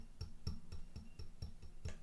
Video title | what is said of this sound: Yamaha spa day | if you hear the piano sound, I'm sure you can hear that. That's what you really want to hear